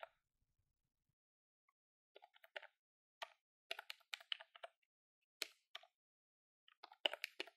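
Long fingernails quickly tap the keys of a grey plastic desktop calculator with a hollow body, held in one hand. Short, dry, bright clicks come in quick irregular bursts separated by silent pauses, with no low end and almost no ring.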